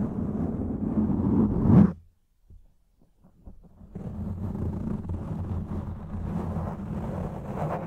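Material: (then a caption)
Foam. A hand rubs, cups and scratches a soft, porous, fist-sized black foam windscreen over a microphone with its fingers and palm. Dense, low, rumbling scratching builds to a peak, then cuts to near-silence broken by a few faint taps. Steady muffled rubbing then resumes to the end.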